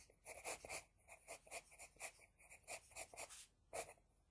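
An HB pencil scratches and rubs across a flat sheet of drawing paper while shading lashes. About fourteen quick, soft, bright strokes are heard, mostly hiss with little low end. A final stroke near the end stands out as slightly louder.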